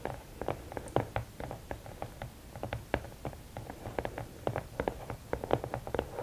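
Long nails tap and scratch the top of the lid of a closed, hollow red and black rigid cardboard gift box. The result is a rapid, uneven run of short, dry, hollow taps with a midrange body that die away almost instantly, with faint scratching between them.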